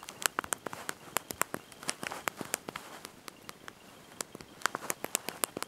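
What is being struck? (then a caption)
Plastic keys of a handheld phone keyboard. Thumbs and fingertips press and tap the small backlit plastic keys of a handheld slide-out mobile phone's QWERTY keyboard while typing a message. The result is a quick, irregular run of about thirty short, dry, bright clicks with almost no low end and no ring, with a brief pause in the middle.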